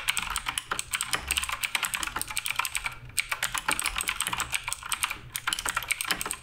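Continuous fingertip typing on the plastic keycaps of a black RGB Redragon K588 Broadsword mechanical keyboard. It produces a rapid, steady stream of bright, sharp clicks and clacks with very short decay and almost no low end, with brief pauses near three and five seconds.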